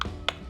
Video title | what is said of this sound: How to...serve oysters | you can hear it's got a really empty sound to it